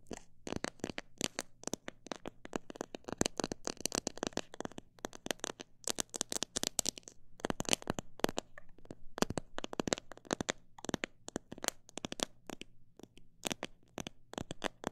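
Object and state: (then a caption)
Plastic jar full of bird seed. Long black nails tap the walls of a transparent plastic jar full of mixed bird seed and nuts, at times fast and at times slow. The taps are sharp, dry clicks with almost no ring. They are too dense to count, separated by short pauses, over a faint low hum.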